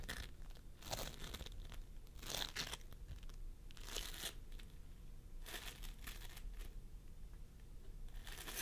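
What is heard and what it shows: Fingertips of both hands press and squish a pastel mound of floam sculpting foam made of polystyrene beads on a wooden table. Short bursts of bright, sticky crackling and crunching rise and fade over a steady low rumble.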